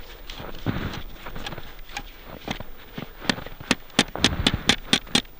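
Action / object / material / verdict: strike / metal probe striking asphalt under snow / asphalt / on asphalt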